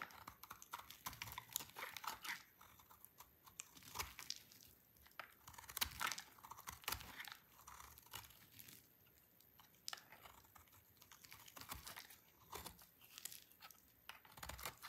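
A small, solid bar of dry white soap with orange streaks, held in one hand, is scraped and shaved with a utility knife blade. Quiet, dense bursts of dry, crisp crunching and crackling come in quick, short clusters, bright and hissy with almost no low end. Crunchy flakes fall onto a pile.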